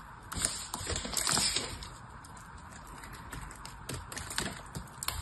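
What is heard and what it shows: A knife cuts into the end of a solid, oval soap bar with a ridged, blue-painted surface. It makes dry, crisp crackling and crunching sounds with bright, high clicks as the dry soap crumbles off.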